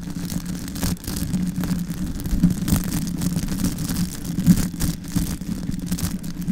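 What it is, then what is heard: Foam microphone windscreen being scratched. Long white acrylic nails scratch and rub directly on a soft, porous, medium-sized black foam windscreen fitted over a silver Yeti microphone head. The result is a dense, muffled rumbling rustle with a steady low hum near 200 Hz. Faint high, airy scratching streaks run through it, along with occasional louder bumps.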